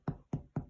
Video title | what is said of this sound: Focaccia tutorial by The Vox Deputy Head Chef, John Graham-Carr | you can hear that hollow sound that you're looking for